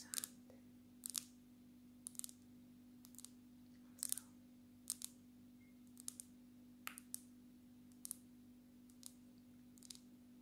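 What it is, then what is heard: Glass-backed smartphone tapped with nails. Long natural nails of both hands tap the glass back of a black smartphone held upright. Sharp, bright, very short clicks come singly and in quick pairs at an uneven pace of about one per second, over a steady low hum.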